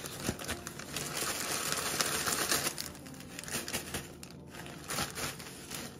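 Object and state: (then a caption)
Plastic zip bag of cookie crumbs. Fingertips and palms press, crinkle and shift a thin clear plastic zip-top bag partly filled with crushed dark cookie crumbs resting on a wooden board, with a rolling pin lying nearby unused. Dense, bright crinkling and gritty crunching fill the clip, louder in the first half and then softer with scattered sharper crackles.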